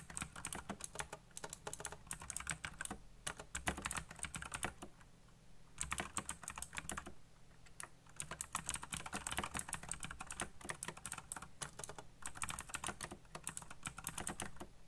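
Fingertips fast-type on a black backlit mechanical computer keyboard with plastic keycaps, producing rapid bursts of sharp, bright clicks and clacks. Brief pauses break up the bursts, and a steady low hum sits beneath the keystrokes.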